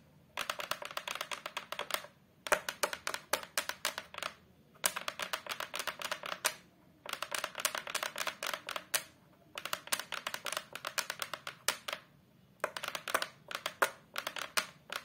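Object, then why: Hardboard back panel of a photo frame. Long pastel acrylic nails rapidly tap and scratch on the flat brown hardboard back panel of a large photo frame lying face down. Dense bursts of sharp, bright clicks and scrapes come in several runs separated by short pauses, with a hollow midrange tone around 600 Hz and almost no low end.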